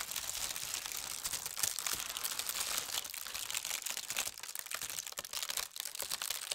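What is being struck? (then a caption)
Thin tissue paper sheet. A large, thin, crinkly tissue paper sheet printed with holly leaves and red berries lies loosely on a table as fingertips with long red nails smooth and press it flat. The result is a steady stream of bright, high, papery crinkling and crackling with almost no low end, easing slightly softer toward the end.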